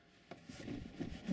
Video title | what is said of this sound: Simon,Controls lesson,part 2. | that's rattling because it's not shut properly so it's on that first stage of uh the catch